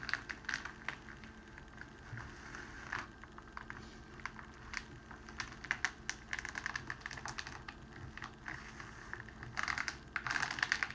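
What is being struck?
Clear cellophane wrapping sheet.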